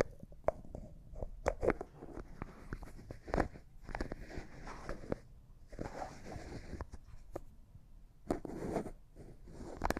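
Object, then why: Small glass jar with plastic screw lid. A small, empty, clear glass cosmetic jar with a white plastic lid is handled as the lid is turned and tapped with fingernails. Quick, sharp clicks and taps are scattered among soft, scratchy twisting and rubbing noises. The sound is quiet and close, with each tap dying away almost instantly.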